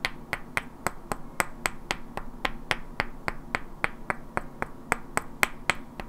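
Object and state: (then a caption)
Wooden blocks knocked together. Two identical hand-sized solid wooden cubes with black painted characters are held in both hands and knocked and clicked against each other, while long natural nails also tap their edges. The result is a steady series of 23 sharp, dry clicks, about four per second, each bright and brief with a woody tone around 2 kHz and almost no ring, over a soft low hum.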